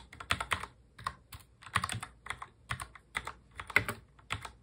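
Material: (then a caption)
Plastic. Both hands type fast on a full-size black mechanical keyboard with plastic keycaps, fingertips tapping the keys. Quick bright clicks and clacks come in short flurries with brief pauses between them. Each keystroke dies away almost at once, with little low-end weight.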